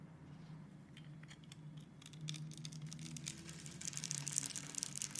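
A box cutter blade scrapes across the grid-scored surface of a solid rectangular green soap bar held in the hand, chipping off small cubes of soap. Bright, crisp scraping and crunchy ticks grow denser and louder toward the end over a faint, steady low hum.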